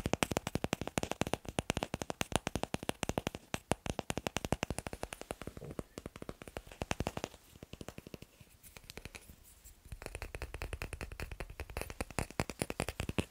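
Fingers tap rapidly on wooden blocks in a steady, dense run of short, dry knocks with a woody low body and bright clicky tops. Around 8 to 10 seconds the tapping thins and softens, then picks back up to a fast, even stream with no talking.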